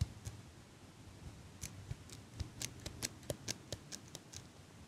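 A small chrome metal eyelash curler is held sideways beside the microphone while fingers and nails squeeze and click its metal handles. The result is a quiet, irregular series of short, crisp metallic clicks and snips with bright high edges and almost no ring, over a faint low rumble.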